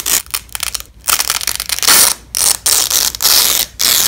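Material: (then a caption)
Nylon. Yellow and black nylon hook-and-loop (Velcro) strips, held in black-gloved hands, are peeled apart in repeated bursts. Each pull gives a dry, crackling rip that is almost entirely bright, high hiss with almost no low end. The bursts are separated by brief silent pauses.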